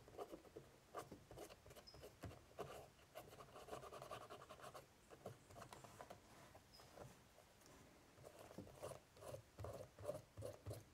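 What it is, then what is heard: Woven straw basket lid. A cotton swab scratches along the braided straw ridges of an ornate woven straw basket lid. It makes quiet, irregular, patter-like scratching in quick bursts, with a dry midrange rasp and very little ring.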